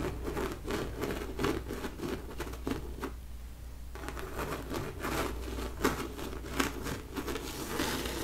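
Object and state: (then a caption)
Painted canvas. Long nails and fingertips scratch and rub across the thick, raised blue textured paint on the bunny figure of a large stretched painted canvas. The result is a dense, crinkly scratching patter of quick bright strokes over a steady low hum, with a brief quieter lull near the middle before the rubbing picks up again.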